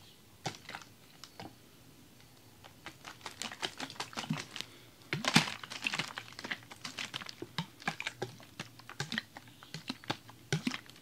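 A large clear ribbed plastic water bottle with a red cap, holding icy, partly frozen water, is held in the hands and shaken. Ice knocks inside in rapid, irregular bursts of short, bright clicks and clatters over a faint low hum, with a louder flurry midway.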